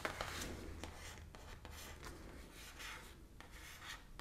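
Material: Cardboard.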